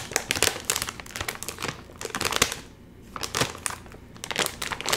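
A full Doritos chip bag made of metallized plastic film is crinkled as both hands pull hard at its top seam. Dense, bright crackling bursts come in quick clusters, with a brief quieter pause midway before the crinkling resumes.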